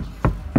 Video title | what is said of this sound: Как выглядит правильная виброшумоизоляция дверей, посмотрим на примере Фольксваген Тигуан | Слышите, у нас какой глухой звук образовался.